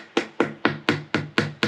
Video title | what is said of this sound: Sawing a Spiral Cracked Oak Log | you can hear it. That's hollow.